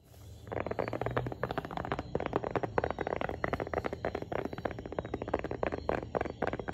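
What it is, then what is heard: Tablet in plastic folio case, tapped with nails. A tablet in a light blue plastic folio case with a folding smart cover, held up in both hands, is tapped and scratched with long painted nails. Quick, hollow clicks and scrapes follow one another steadily for about six seconds, each hit short and sharp with no ring.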